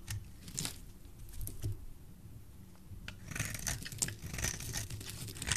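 A utility knife blade carves thin strips from a solid oval green soap bar. Soft, dry scraping and crisp crackling cuts run throughout, growing denser and brighter in the second half, over a low background rumble.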